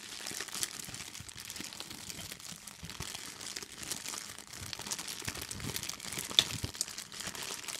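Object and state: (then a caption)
Clear plastic bag. An empty, clear, thin plastic bag is crumpled and pinched between fingertips and long nails. The result is a steady, bright, dense crinkling and crackling with little low end, and one sharper crackle stands out near the end.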